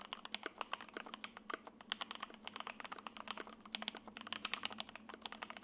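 Steady two-handed fingertip typing on an F1-8X Silver 80% mechanical keyboard in lavender with a sandwich PC plate and foam, fitted with ABS plastic keycaps on linear switches and resting on a desk mat. A quick stream of short, crisp, bright clacks follows in an uneven rhythm, each dying away almost instantly.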